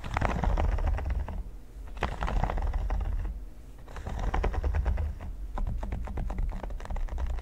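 Fingertips and nails tap and scratch across a flat, solid red silicone pyramid mat, giving a dense run of quick, soft clicks and rough scratching. The sound is mostly low and muffled, with brief short-lived taps in irregular bursts that fade between passes.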